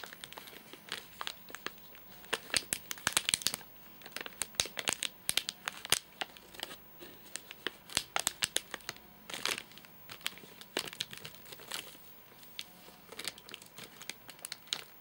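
A fingernail scratches the front crimped edge and the top of a full, flat rectangular Soft Nougat bar in a crinkly plastic wrapper. The result is a dense run of bright, sharp crinkling and scratching sounds with almost no low end, each burst dying away instantly between quieter rustles.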